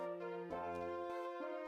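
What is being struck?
Nothing is struck.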